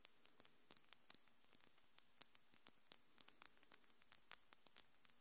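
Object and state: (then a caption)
Acrylic fingernails clicking. Long, glittery, hard and solid acrylic fingernails are tapped and clicked against each other by both hands just in front of a microphone. About 28 sharp, bright clicks come in an irregular patter. Each is very short, with no ring, over a quiet, steady hiss.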